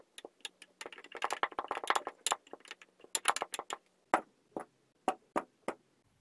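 Blocks of blue and green kinetic sand are dropped into a stemmed clear glass and tamped down with a wooden muddler. A quick run of short, crisp taps and soft thuds crowds together at first, then thins out into a few separate, evenly spaced knocks with a faint glassy brightness.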